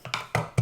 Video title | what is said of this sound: HYPHEN Review - Are they really the gold standard of wireless earbuds? | It's hollow sounding, so it sounds cheap.